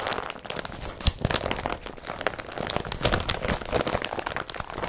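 An empty blue woven polypropylene IKEA BRATTBY carrier bag has its bundled fabric rubbed and scratched by a hand, then lifted and crumpled. The result is a dense run of dry crinkling and crunching with short, sharp transients, bright and crisp with some low rustle underneath.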